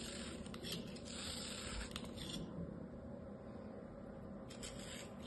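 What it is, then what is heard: Kinetic sand being sliced. A small orange-handled craft knife slices repeatedly through a palm-sized, solid molded turtle of kinetic sand held in an open palm. Soft, gritty scraping and crumbling sounds rise and fall in several bursts with bright hissy edges over a low, steady background.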